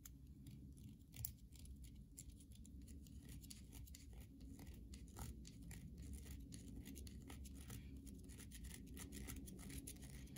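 Long nails scratch the surface of a solid carved white soap bar held in the hand, leaving grooves. Quiet, rapid, dry scratching strokes produce bright crackles over a steady low hum for about ten seconds.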